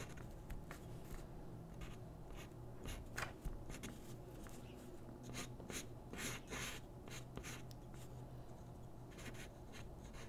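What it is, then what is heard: Paper sheet under pencil. A graphite pencil strokes and scratches across a single thin white paper drawing sheet lying flat on a wooden desk while the other hand holds the sheet still. Soft, bright, papery scratches come in short bursts over a low, steady hum.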